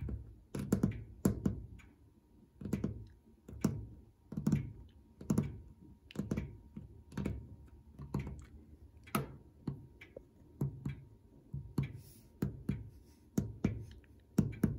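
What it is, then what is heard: Metal clock dial with enamel plaques, tapped. Fingertips with short nails repeatedly tap the small oval white enamel numeral plaques, set in gilt metal frames, and the flat brushed brass-coloured metal dial mounted on the case of a wall or grandfather clock. The taps come as soft, dull low thunks in quick, uneven clusters, each with a faint bright nail click and almost no ring.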